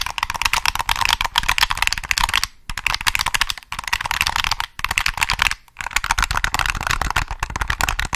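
Fingertips rapidly tap and click the triggers and shell of a hollow black plastic PS3 controller held close to the mic. The result is a dense stream of short, dry, bright clicks, broken by a few brief pauses.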